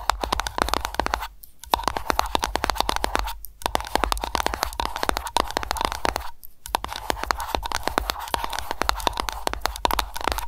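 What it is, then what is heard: Aroma candle container tapped with nails. Long nails tap rapidly on an aroma candle container, with scratching and lid sounds mixed in. The clicks are dense, crisp and short, centred on a tone near 940 Hz. The stream breaks briefly about three times.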